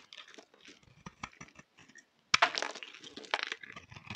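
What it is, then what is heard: Bar of soap being shaved with a blade. A solid pink striped bar of soap held in hand is shaved with a utility knife blade. It gives a quiet run of short, dry scraping and cutting ticks. Just past the two-second mark, after a brief near-silent gap, a louder sharp cut starts denser, brighter, crackly shaving that carries on to the end.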